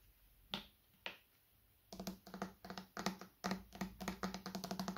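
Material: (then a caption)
Plastic. A medium, hollow white plastic bottle is held upright and tapped with the fingertips on its top and cap area. Two separate taps come first, then a quick run of soft, hollow clicks with a low body tone near 190 Hz and a brief bright edge. Each tap decays almost at once.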